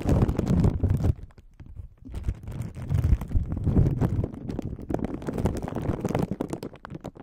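An empty, thin, clear crinkly plastic film sleeve is held by the fingertips of both hands over the microphone and scrunched and rubbed. Dense, irregular crinkling and crackling rustles come through, heavy in the low end, with a brief quieter lull early on before the crinkling picks back up and continues to the end.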